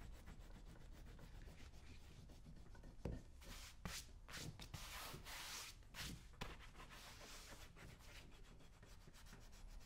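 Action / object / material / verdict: scrape / leather boot shaft scraped with a metal tool / leather / none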